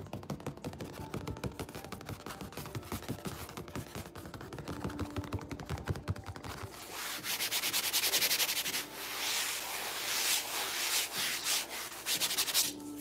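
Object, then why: Painted stretched canvas. Fingertips and nails tap and scratch across a colorful painted stretched canvas of medium size, held upright at its top edge. For the first half, quick, irregular tapping gives dense clicks with a soft, drum-like thump from the canvas. It then shifts to louder, bright, hissing scratches that rise and fall in strokes.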